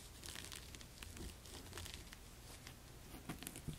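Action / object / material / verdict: scrape / braided jute rope wedge of a sandal / jute rope / none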